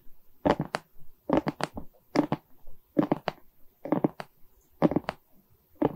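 Long red nails scratch and tap across a Mickey diamond painting made of small plastic resin beads on a wood-framed canvas. Quick clusters of short, dry clicking and scraping bursts come in uneven groups with brief pauses between them.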